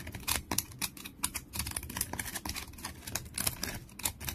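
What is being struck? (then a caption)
Wooden stick with bark. Fingernails scratch a long, solid wooden stick with peeling bark as it rests on a towel, and flakes of bark fall away. A rapid run of dry, crackly scrapes and ticks follows, bright and crisp, with each short burst cutting off almost at once over a faint low rumble.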